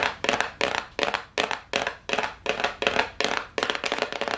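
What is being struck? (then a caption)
Small cardboard gift box. A small, hollow brown and gold cardboard gift box is held up near the face and tapped fast with long nails. About a dozen quick bursts of crisp, bright clicking taps come in a steady rhythm, each fading with a short papery rattle and little low end.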